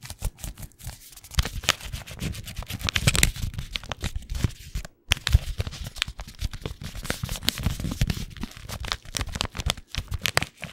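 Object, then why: Paper tea bag packet. A single small, flat paper wrapper with a tea bag inside is crinkled, bent and rubbed between the fingertips. The result is a dense, continuous stream of sharp, bright crackles and crinkles over soft, low rustling thumps. The stream breaks off in a brief silence around the five-second mark before resuming.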